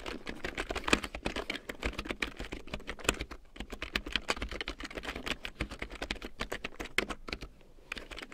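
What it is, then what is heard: Plastic keyboard being typed on. A full-size large print keyboard with a black plastic frame and big yellow plastic keycaps, lying on faux fur, is typed on with long painted nails and fingertips. The result is a steady, irregular run of crisp, dry plastic clicks and taps with bright edges and almost no ring, some nail strikes landing sharper than the softer fingertip presses.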